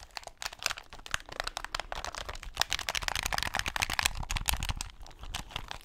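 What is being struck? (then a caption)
Plastic game controller. A hand-sized, hollow plastic game controller with buttons is held in both hands close to the mic while fingertips tap and click its buttons and shell. The result is a rapid, dense stream of crisp, dry plastic clicks and taps with a bright edge, soft low thumps underneath, and no ring after each hit.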